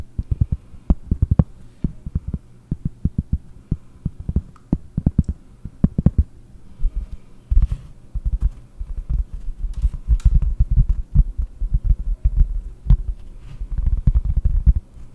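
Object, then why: Round cork trivet. Long nails and fingertips tap rapidly on a large, round, solid cork trivet held in both hands. The taps are dull, low thumps with almost no ring, coming in quick irregular bursts that grow denser and more continuous in the second half.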